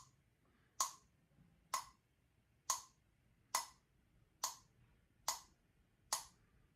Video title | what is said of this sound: Hot chocolate effect EXPLAINED (AP Physics 1) | hit it with a spoon to hear the difference of the sound in terms of pitch with our ears